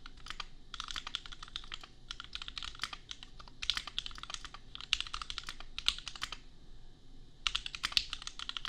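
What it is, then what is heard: Mechanical keyboard typing, plastic keycaps. Fingertips of both hands type on a compact custom mechanical keyboard worth $250, with Gateron Milky Yellow switches and red/pink plastic keycaps. Rapid bursts of crisp, bright, short clacks run steadily, with brief pauses around 2 and 7 seconds and a few louder keystrokes standing out. Each click dies away almost instantly over a faint low background hum.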